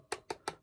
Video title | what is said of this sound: I Built a Custom Baritone Guitar For Under $1000 | hollow spots here if you're tapping at it for where the pickup isn't because it is a smaller pickup